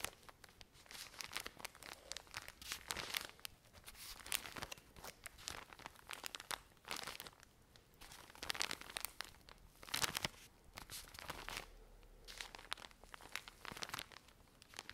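A full plastic-wrapped pack of cotton pads is scratched and squeezed by long nails. Dense, bright crinkling and crackling of the plastic film comes in irregular bursts throughout. The sound is quiet and close.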